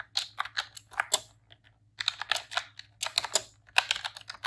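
A pink retro-style plastic computer keyboard with round keycaps is typed on with long press-on nails and fingertips in rapid key presses. About twenty sharp, bright plastic clicks and clacks come in quick bursts, with a brief pause near the middle. Each click dies away almost instantly, with no low-end body.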